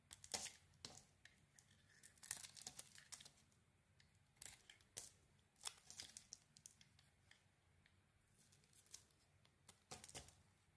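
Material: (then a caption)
Soap. A solid oval pink soap bar with a burgundy coated surface, held in the hand, is shaved with a metal blade. Quiet, crisp, bright scraping and tearing strokes come in short irregular bursts over a faint low hum.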